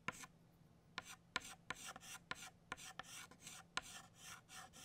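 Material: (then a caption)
Chalk. An orange chalk stick traces over petal outlines on a flat black chalkboard in steady scraping strokes. About nine sharp taps start bright, rasping scrapes with a faint squeaky tone near 1 kHz, each fading quickly between strokes at a fairly quiet level.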